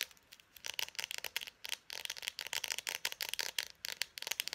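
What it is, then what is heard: Plastic dry-erase marker. A small hollow plastic Expo dry-erase marker with its cap on is held up close and tapped quickly with long painted nails. The result is rapid, dry, bright clicks with almost no ring and no low end, coming in uneven bursts with short pauses between them.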